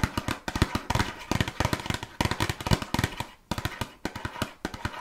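A closed, small red printed cardboard box of burger cookies with contents inside is tapped rapidly with long nails. About thirty quick, dry, hollow taps come in bursts with a brief pause partway through, each dying away almost instantly with a low, papery thud.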